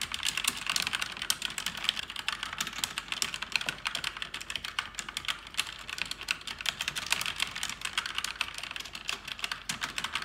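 Fast typing with fingers on a black, backlit mechanical keyboard with plastic keycaps, seen at an angle in the dark. Dense, crisp, bright clicks and clacks patter steadily for about ten seconds, each one short with almost no ring and little low end.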